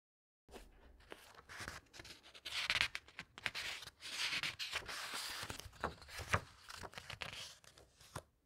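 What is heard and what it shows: Long-nailed fingers smooth down and flip the glossy paper pages of a large open hardcover book. Bright, dry rustling and crinkling swell and fade, broken by soft slides and quick flicks as pages turn.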